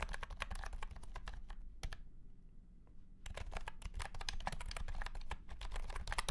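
A white and pink cat-shaped keyboard with round plastic keycaps in a hollow plastic case is typed on with the fingertips of both hands. The result is a run of quick, sharp clicking keystrokes. The typing pauses briefly around the two-to-three-second mark, then resumes at a steady pace.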